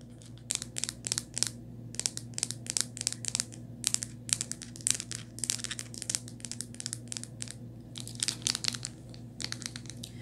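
Long white nails tap and scratch the back of a rose-gold hard plastic phone case with a metal ring holder. Quick, bright, clicky taps come in rapid bursts over a steady low hum.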